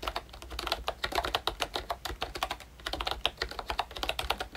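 Fingertips type quickly on a pink ROYCHE Disney Mickey Mouse retro plastic membrane keyboard with round keycaps and a hollow body. It makes a steady stream of short, bright, clacky key taps that stop dead with almost no ring, with a brief lull just before the typing resumes.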